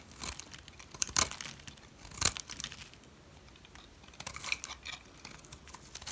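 A metal blade shaves the edge of a solid yellow dry soap bar, with the shavings piled up behind it. The sound is bright, crisp scraping and crumbly crunching, rising into louder sharp bursts now and then between quieter rasping strokes.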